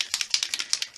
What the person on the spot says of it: see starts rattling you shake it properly